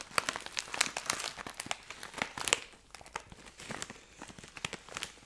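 A medium-size Thai Rings snack bag of plastic foil, filled with snacks, is held up and crinkled and scratched with fingertips and painted nails. Dense, bright crinkling and sharp crackles come in quick bursts with almost no low end and no ring. The loudest rustles fall in the first half, then it settles into softer scratching.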